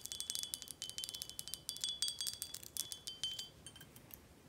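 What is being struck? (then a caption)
Glass bottle. Long acrylic nails tap rapidly on a tall, full, red glass Corralejo tequila bottle held in the hand, striking both the glass body and the label. Each tap is a quick, bright, glassy click with a thin, clear ring that dies away almost at once, with no low end. The taps come in an uneven flurry and grow softer and sparser toward the end.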